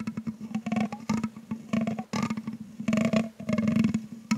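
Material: Metal mesh.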